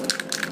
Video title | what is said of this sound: Plastic model building 101 | so you can hear the marbles inside and that means that the paint is fairly mixed